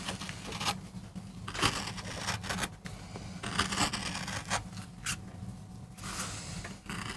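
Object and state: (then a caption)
MDF board being carved. A wooden-handled metal gouge carves and scrapes grooves into a small, flat, solid MDF board. Bright, broadband scraping strokes come in uneven bursts over a steady low hum.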